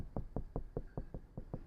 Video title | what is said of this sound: New Transit Custom HiFi Upgrade | you can hear that's really solid sounding